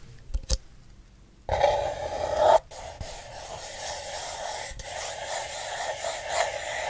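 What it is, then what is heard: Paper cup scratched with fingernails. Fingernails scratch the outer wall of a single empty, hollow paper cup with a yellow and blue printed pattern, held upside down. A couple of faint taps come first, then a loud, rasping scratch with a strong mid-range tone that cuts off abruptly. Softer, steady scratching with a bright hiss continues to the end.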